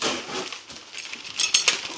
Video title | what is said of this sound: (NEW) E-Flite EC-1500 Twin Cargo Plane. (Un-Boxing and Build,Then Out for Testing) | sounds like metal. Well, maybe not.